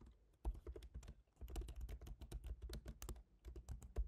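Fingertips type on the black plastic keys of a silver MacBook Pro's aluminium laptop keyboard. A quiet, irregular stream of soft, low, dull key taps dies away instantly, with a brief pause near the first second before the typing resumes.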